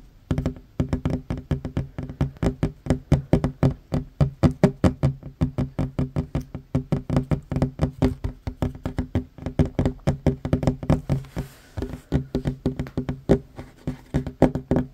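Short fingernails on one hand tap fast across a worn, large, solid wooden tabletop, producing dozens of quick, separate knocks in a steady stream. Each tap is a dull, woody thud with a faint tone and almost no ring, weighted toward the low end with little bright content.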